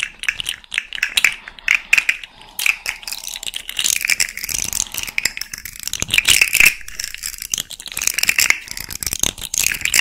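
A small hand-held rainbow fidget slug made of hollow, jointed hard-plastic segments is bent and twisted with long red-painted nails and fingertips. The segments make dense, bright clicking and rattling throughout, with sharp, quickly fading clicks and almost no low end.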